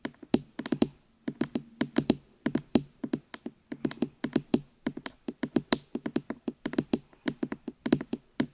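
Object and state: Silicone microphone ears tapped.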